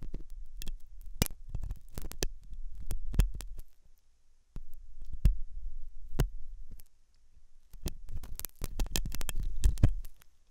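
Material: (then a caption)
Silicone. A hooked metal dental tool scratches inside the ear canal of a white translucent silicone ear model made of soft, solid rubber. Dull, low scraping and rubbing sounds come in bursts, broken by short sharp clicks and taps. A brief near-silent pause separates the bursts.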